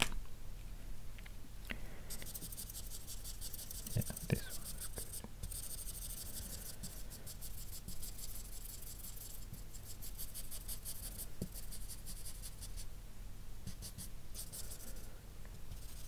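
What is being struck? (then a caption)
Felt-tip marker on a paper sheet. A grey felt-tip marker's nib is rubbed in repeated scribbling strokes over the map area of a flat white paper sheet. Soft, bright, scratchy strokes rasp steadily over a low, constant background hum, with a few faint taps along the way.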